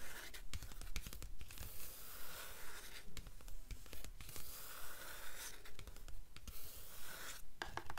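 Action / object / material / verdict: tap / cloth-covered cardboard book cover / cloth, cardboard / none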